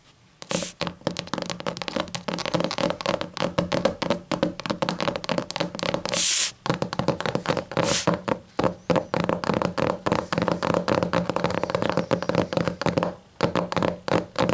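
Long matte nails rapidly tap and scratch the black textured leatherette cover of a closed hardcover book with a sticker on it. Dense, short, dry clicks run throughout, with a couple of brief bright hissing scrapes and a few short pauses between bursts.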